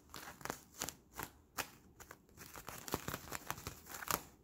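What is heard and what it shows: Fingers squeeze and crinkle an empty, palm-sized, hollow clear bubble of sticky Bloonies plastic film, pulling its sticky surfaces apart. The result is a quiet series of short, bright crinkles, crackles and tacky peeling snaps, each dying away almost instantly.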